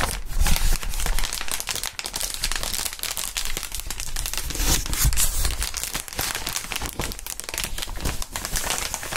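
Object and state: Plastic air column cushion wrap.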